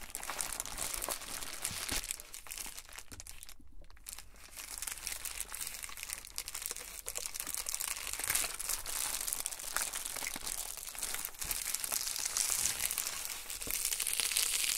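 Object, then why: Plastic bubble mailer envelope. An unopened, padded Amazon Prime poly bubble mailer is held up, then pressed flat while fingertips rub and scratch its plastic surface. The result is a steady stream of bright, crisp crinkling and scratching, with only a brief quiet dip around the four-second mark.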